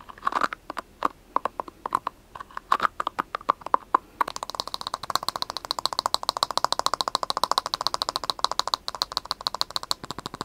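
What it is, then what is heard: Plastic scalp brush. A round, palm-sized white plastic scalp massage brush with soft prongs is tapped and scratched on its prongs and body with short nails and fingertips. Sharp, dry clicks centered around 1 kHz come in spaced bursts at first, then give way to a fast, steady stream of rapid tapping with a brighter, scratchy edge. Each click stops instantly with no ring.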